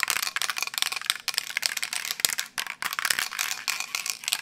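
A medium metal aerosol spray paint can holding paint and a mixing ball is held in one hand and shaken vigorously near the microphone. The ball rattles inside the can in a rapid, uneven run of sharp, bright clicks with almost no low end, each one dying away instantly.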